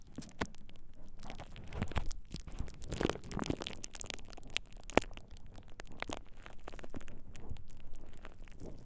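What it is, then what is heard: Plastic bubble wrap being crinkled. A thin sheet of purple plastic bubble wrap draped over the ears of a binaural dummy-head microphone is squeezed and crinkled by fingertips. It makes a steady stream of close, soft crinkling and crackling with scattered sharp snaps, one standing out clearly near the middle. The texture is dense and low-heavy, and each snap dies away almost instantly.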